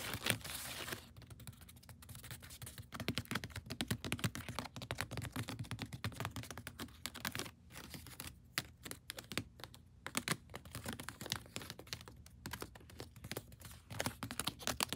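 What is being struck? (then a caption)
Woven seagrass basket. Long painted nails and fingertips tap and scratch along the woven side of a large, hollow, woven natural-fiber (seagrass/wicker) storage basket on a pantry shelf. It opens with a short burst of broad, hissy scratching. Then comes a dense, irregular stream of quick, dry clicking taps and crinkly scrapes that die away almost instantly, over a faint steady low hum.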